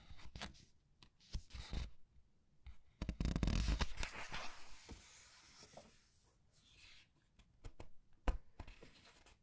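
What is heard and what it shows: Fingertips with long red nails lift and flip the printed paper pages of a large open paperback art book resting on a table. Soft taps and crisp paper rustles lead into a louder, sustained swishing page turn in the middle, then quieter crinkles and a sharp flick near the end.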